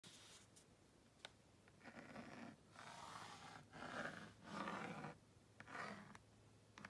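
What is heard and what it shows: A purple plastic magnetic stylus held in the fingers is dragged across the honeycomb-textured screen of a cream-coloured plastic magnetic drawing board (magnadoodle), about tablet size, to draw a house. Soft, dry scratching strokes come in uneven bursts with short pauses and small clicks between them, centred in the midrange with some bright hiss.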